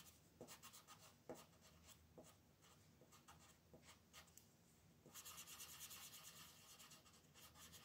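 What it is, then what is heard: Colored pencil scratching on a coloring book page. A red wooden colored pencil is rubbed in short, scratchy strokes over a small area of a thin printed coloring-book page lying flat on a table. Quiet, irregular bright scratches come first, then around the five-second mark they become a denser, continuous hiss of rapid rubbing.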